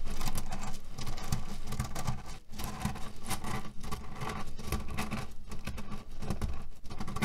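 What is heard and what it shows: Fingernails scratch and tap across a cherry pit pillow, a cotton fabric case filled with cherry stones. The result is a steady, dense crunchy patter as the stones shift and rattle, with a low, full body and brief dips between strokes.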